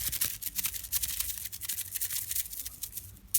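A cheap aftermarket steel timing chain from a budget kit is shaken from side to side, producing a rapid, bright metallic rattle of clicking links. The rattle comes from play in the loose links, marking the chain as poor quality and fit only for the bin.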